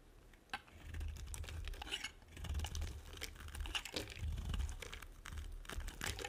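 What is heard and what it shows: A small metal blade shaves rapid short strokes across a solid, dry, white, oval, hand-sized soap bar, scratching and carving off thin flakes. Dry, crackly scraping with bright crinkling edges rises and falls in bursts over a steady low rumble, with a sharp tick near the start.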